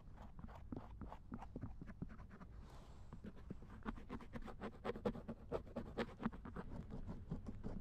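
A thin wooden or bamboo ear pick repeatedly scratches the silicone ear of a binaural dummy head microphone lying in a lap. The result is close, dry scraping and tapping strokes in an irregular rhythm, with a deep, muffled body and almost no ring. About three seconds in there is a brief, softer rustle before the strokes grow slightly louder.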